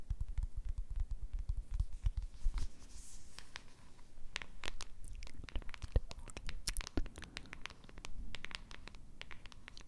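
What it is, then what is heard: Cardboard box scratched with fingernails. Long red acrylic nails scratch and tap across the printed surface and edges of a small, flat, pink printed cardboard box that looks hollow and light, held close to the microphone. The sound is a steady run of dry, crackly scratches with sharp clicks of the nail tips, and each one has a dull, boomy thump beneath it. Brighter rasping bursts flare up now and then, and every sound stops dead with no ring.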